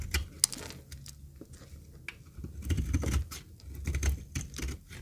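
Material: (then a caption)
Soap. A metal knife blade shaves and cuts a dry, rectangular, solid yellow retro soap bar held in a palm with long red nails, and dry flakes fall off. Crisp, dry scraping and crackling clicks with sharp, bright transients come in irregular bursts over a soft low rumble.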